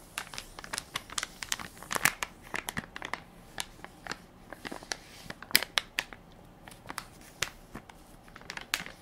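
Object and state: Plastic wipes soft pack being crinkled.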